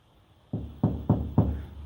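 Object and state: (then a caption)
Hollow uninsulated van rear door. Four knocks on the metal rear door panel of a delivery van give a hollow, low thud. The hollow sound shows that there is no insulation behind the panel.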